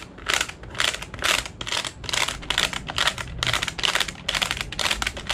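Fingertips press the plastic keys of a large dark grey JOINUS plastic desk calculator with a hollow casing, then tap the back of the case. Bright, dry plastic clicks and taps come in quick, uneven clusters, like rapid typing, with almost no low end. Each click dies away almost instantly.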